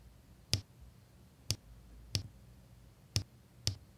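A pink drill pen with a metal tip taps square resin diamond-painting drills into place on a flat adhesive canvas, in an area already filled with drills. Five short, dry clicks are heard, each with a bright tick on top of a soft low thump near 100 Hz, separated by quiet pauses.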